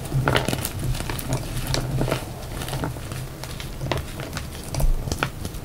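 A solid pale yellow block of reformed gym chalk is snapped and crumbled in both hands, then fingers crush and rub the dry powder and pieces in the pile. Quick dry crunches and crackles sit over a soft, low, muffled rumble, with faint bright grainy ticks as the chalk breaks apart.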